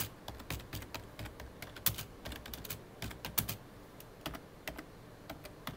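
Fingertips of both hands type fast on a hollow, full-size black plastic computer keyboard. The key taps come as quick, short clicks with bright edges and a soft low thud beneath. Two sharper, louder clacks stand out partway through.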